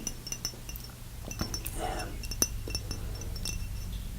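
A glass Davidoff eau de toilette bottle with a small plastic stopper top, partly used, is tapped repeatedly. The taps give short, bright, chime-like clinks with very little ring, spread over a steady low background hum.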